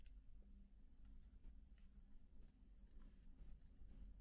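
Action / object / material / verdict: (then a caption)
tap / laptop keyboard, plastic keys on aluminium body / plastic / none. Fingertips with short nails type gently on the black plastic keys of a silver MacBook laptop keyboard with an aluminium body. Soft, quiet clicks and taps patter irregularly, each short and bright over a low, steady hum.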